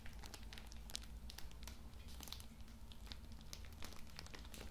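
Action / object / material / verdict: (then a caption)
scrape / pocket tissue pack in plastic film / plastic film / none. A soft, full pocket tissue multipack wrapped in plastic film is held in both hands while fingertips rub and crinkle it. Quiet, continuous crinkling comes with sharp, bright crackles scattered throughout, over a steady low hum.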